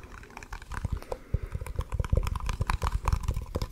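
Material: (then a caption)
Plastic. Fingertips and nails tap and scratch a small cylindrical plastic jar with a blue-and-red lid and a barcode label, held beside the mic. A rapid, irregular stream of dull, bass-heavy taps and light scratches is heard, each tap very short with almost no ring.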